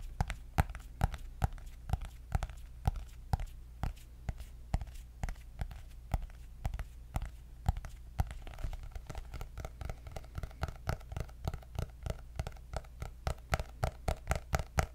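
Fingertips and nails tap on the cardboard cover of a cream hardcover paper notebook with gold polka dots, which is held up. Dozens of quick, dry, short taps come in a steady, fast rhythm over a constant low hum, with a slightly brighter clicky edge in the second half.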